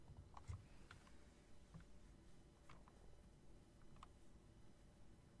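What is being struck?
Plastic and metal mechanical keyboard.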